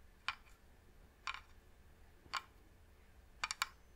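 Long nails tap on the lid of a medium, hollow, varnished wooden box, making short, bright, dry clicks centered around 1 kHz with almost no ring. Single taps come about a second apart, then a quick cluster of taps closes the clip over a faint, quiet background.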